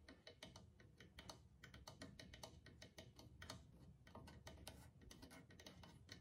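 Fingertips tap the rawhide skin head of a single hollow clay drum, then the hand moves to the rim and taps there with the nails. The result is a quiet, steady stream of soft low thuds mixed with short, crisp ticking clicks that die away almost instantly.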